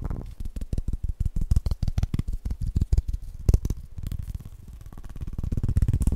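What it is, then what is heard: Bowling pin. A bowling pin is tapped fast and aggressively in a rapid, uneven run of short, dull, low thuds that die away almost instantly. Around the midpoint the taps blur into a denser, softer patter before building back to sharper, louder knocks at the end.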